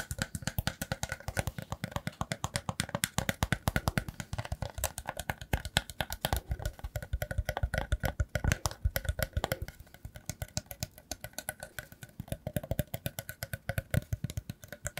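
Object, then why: Woven rattan basket. A hollow, round woven rattan basket turned on its side is scratched and tapped along its woven rim and sides with fingertips and nails. The result is a fast, steady stream of dry, short clicks and taps, each with a soft, low, hollow thump and almost no ring. The texture is light and rustling, with a slight dip in intensity around the middle.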